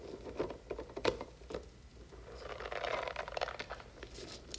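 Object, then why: Silicone spiky puffer toy. Long nails scratch and stroke the spiky nubs and long strands of a hand-sized, hollow blue silicone puffer toy, and the toy is stretched. The result is a quiet run of soft, crinkly scratching and rapid patter, with a dull rubbery tone and occasional brighter scrapes and sharper taps.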